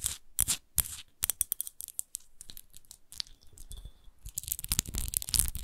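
Long nails tap and scratch a large, empty, hollow clear glass wine bottle with a textured rose base while it is held and tilted. Quick, sharp, bright clicks mix with short scratchy rasps over the textured glass, with dull low thumps underneath. Each tap dies away almost at once with no lasting ring.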